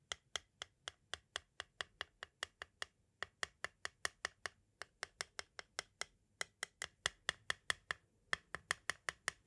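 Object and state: Plastic audio cassette.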